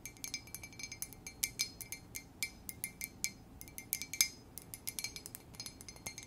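A plain white ceramic coffee mug, hollow and apparently empty, is held in both hands and tapped with long nails. About thirty light, quick taps produce bright, glassy clinks with a short high ring and almost no low end.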